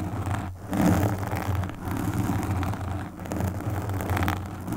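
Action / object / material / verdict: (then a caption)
scrape / foam microphone windscreen / foam / none. Long pink acrylic nails on both hands scratch and stroke the soft, porous black foam windscreen of a desktop USB microphone. The result is a dense, continuous, muffled scratching rumble with a heavy low-end thump and little brightness. It swells and dips as the strokes change, with brief quieter gaps between passes.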